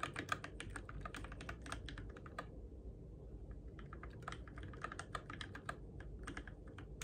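Fingertips tap the plastic keycaps of a Keychron K6 compact RGB-backlit mechanical keyboard in the dark, producing quick, bright clicky keystrokes over a steady low hum. The typing runs in bursts, with a brief lull in the middle before picking back up.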